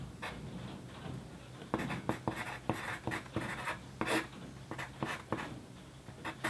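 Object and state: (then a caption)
Pencil writing on paper. The graphite tip of a wooden pencil writes on a flat sheet of white paper lying on a desk. Dry, scratchy strokes come in quick irregular bursts with bright, papery hiss over a soft background, each stroke fading fast.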